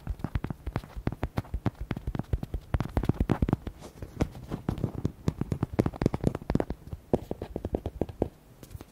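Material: Rubber.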